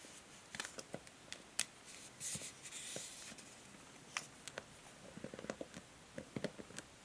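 A pink and grey plastic paddle hair brush with white plastic bristles is held in the hands while long nails scratch and tap across the bristles. About fifteen quiet, sharp, bright clicks and ticks stand apart, with a few brief raspy scratching swipes in between.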